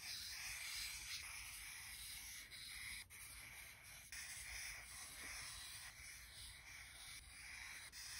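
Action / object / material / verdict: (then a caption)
scrape / felt-tip marker on thick paper / paper / none. A felt-tip alcohol marker tip is stroked across the thick white paper of a spiral-bound sketchbook lying on a cork surface, drawing red and purple squiggles while a hand with long manicured nails holds the page still. The result is a steady, bright, scratchy rubbing of the marker on paper, with brief pauses between strokes.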